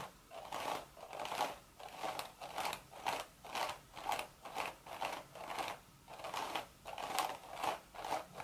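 Long, sharp red nails scratch and tap the woven crown of a cream straw hat with a hollow crown. A steady series of dry, crisp, crackling scratches comes in short bursts about twice a second, with a midrange rasp and a bright, hissy edge. Each stroke fades quickly, with no low thump.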